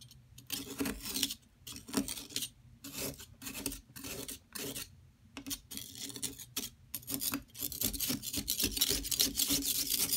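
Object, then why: Plaster block scraped by a metal palette knife. A metal palette knife scrapes down the surface of a solid yellow plaster excavation block, which is steadied by a hand with long silver nails, grating off powder. The sound is a series of bright, gritty rasping strokes at an uneven pace, with short pauses early on that give way to denser, louder scraping toward the end.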